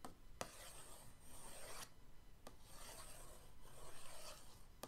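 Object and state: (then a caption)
Cardboard paint box scraped. The end of an orange paintbrush is dragged across the lid of a flat printed cardboard paint-set box, making a dry, bright scratching rasp. Long rubbing strokes are broken by a few sharp ticks, all at a quiet level.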